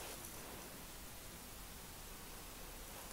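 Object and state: Nothing is struck.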